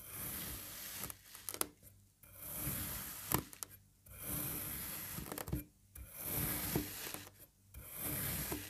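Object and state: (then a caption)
Kinetic sand block being cut. A serrated knife presses down through a green kinetic sand puzzle block that is already in strips, cross-cutting it into cubes. Each cut gives a soft, grainy scraping crunch with small sharp clicks, separated by brief quiet pauses, over a faint steady high hiss.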